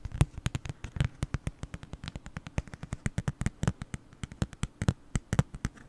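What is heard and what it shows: A small, flat black cardboard gift card holder, held in front of the mic, is tapped rapidly with long nails. The result is a steady stream of about forty short, dry clicks with almost no ring. Most of the energy sits in a low, dull thump, and each click carries only a faint bright edge.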